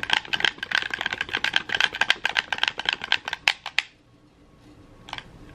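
A red, hollow plastic gamepad is held in both hands while thumbs and fingertips mash its buttons and triggers. A rapid run of sharp, bright plastic clicks lasts about four seconds, then stops. After a near-silent pause, one last click comes shortly after the five-second mark.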